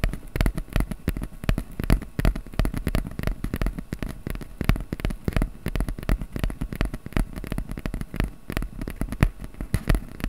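Fingertips quickly tap and scratch the surface of a small, flat piece of brown corrugated cardboard held in both hands above a microphone. The result is a dense, irregular stream of short, dry, crackling taps and scrapes with a dull, low-heavy body. Each tap dies away almost instantly.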